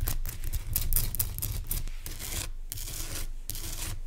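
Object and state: Rock salt lamp.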